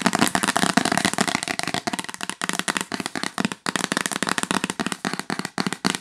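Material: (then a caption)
Cardboard. Long nails tap rapidly along the top edge and surface of a yellow L'Occitane cardboard gift box lid. The result is a fast, dense stream of dry, crisp clicks and taps with a bright, papery texture, each tap dying almost instantly.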